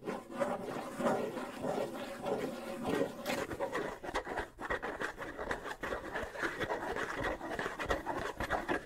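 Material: Wood and skin.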